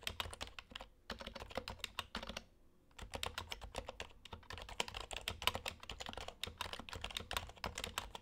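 Fingertips of both hands type on an HHKB Hybrid Type-S, a plastic Topre keyboard with plastic keycaps. A steady stream of quick, short, bright keystrokes is heard, with brief pauses near one second and a longer gap around the middle. Each press is a soft, tight tap with almost no ring.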